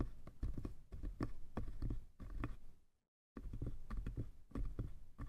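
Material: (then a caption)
Wood. Fingertips tap the sides of a small hollow wooden box in quick, uneven patters, then the hand taps on its lid. The taps are soft, low and hollow with very short ring, and a brief silence near the middle separates the two passages.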